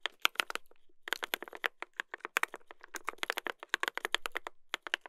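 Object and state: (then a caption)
Mechanical keyboard with brass plate. Two hands type continuously with their fingertips on a mechanical keyboard with a brass plate and plastic keycaps. A rapid, uneven stream of sharp, dry clacks carries a crisp mid tone and a bright top with very little low end. Each keystroke dies away almost instantly.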